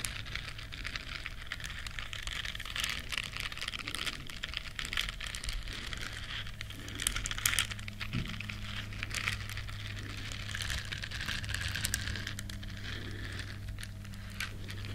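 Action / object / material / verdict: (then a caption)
scrape / silicone bristle scrubber scratched with nails / silicone / none. Long nails scratch the bristles of a small, flat, solid yellow silicone duck-shaped scrubber, making a dense, continuous, crinkly scratching with bright, high hiss and quick taps. A steady low hum runs underneath throughout at an even, quiet level.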